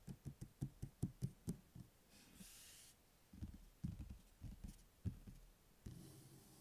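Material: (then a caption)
Paper. Fingertips and nails tap the glossy cover of a thick, closed paperback book lying on a table, with the hands resting beside it at times. A quick run of soft, dull, low taps is followed by a brief faint hiss, then another slower series of taps, each dying away almost at once.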